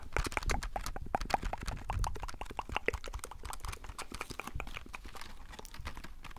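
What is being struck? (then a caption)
Plastic blister pack on cardboard backing. Long acrylic nails rapidly tap a small, hollow retail blister pack, a clear plastic blister on a printed cardboard card, held close to the microphone. The result is a fast, steady run of short, dry clicks with almost no ring, each carrying a hollow low thump beneath a light plastic tick.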